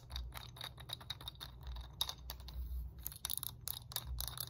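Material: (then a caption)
Plastic. Long nails tap quickly across the segments of a red, segmented hard plastic muscle roller stick. The result is a rapid, dense run of short, dry clicks with bright, clattery highs over a steady low hum.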